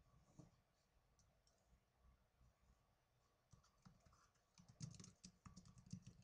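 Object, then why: Plastic netbook keyboard. Fingertips with medium-length blue-painted nails type rapidly on the plastic keys of a small black plastic netbook keyboard. Quiet, irregular clicks and taps, each with a soft low thud and a short bright tick, come sparsely at first and then in denser bursts toward the end.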